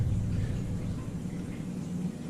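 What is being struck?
Nothing is struck.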